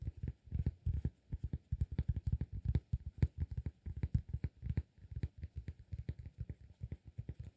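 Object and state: Cork disk.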